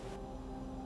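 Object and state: Nothing is struck.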